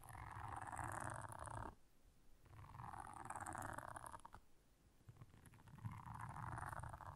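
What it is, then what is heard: Silicone bristle scrubber pad being scratched. Long nails scratch across the bristles of a blue silicone scrubber pad. Three sustained, raspy passes carry a strong midrange hiss with a faint bright edge and a low rumble underneath, separated by brief quieter pauses.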